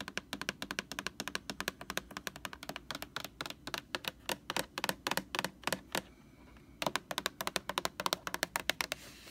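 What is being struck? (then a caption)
Plastic laundry sanitizer jug. Long nails tap rapidly on the label of a large white plastic Lysol laundry sanitizer jug, then on its bare white plastic body. The result is a steady run of crisp, bright, dry clicks with almost no ring. A short pause comes just after the six-second mark before the tapping resumes.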